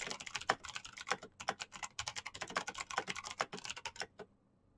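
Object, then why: Plastic mechanical keyboard. Very fast fingertip typing on a black plastic mechanical keyboard with clicky switches produces a dense run of sharp, bright clicks that blur into a continuous rattle. The typing stops at about 4.3 seconds, leaving near silence.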